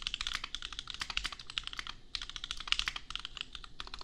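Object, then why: Mechanical keyboard with plastic keycaps. Fast typing with the fingertips of both hands on a $250 custom compact mechanical keyboard with Gateron Milky Yellow switches and red/pink plastic keycaps. A dense run of bright, short keystroke clacks is heard, centered around 2.8 kHz with little low end, and there is a brief pause near the middle.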